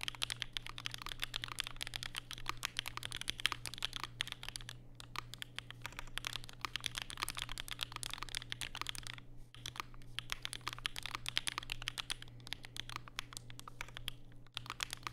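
Fingertips type continuously on a compact black Vega mechanical keyboard with plastic keycaps and Durock POM switches, set on a desk mat with a white wrist rest. Rapid, crisp, bright clacks with very short decay run throughout, peaking around 3.2 kHz. A faint steady low hum sits underneath.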